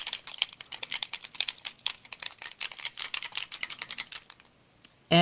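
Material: Plastic.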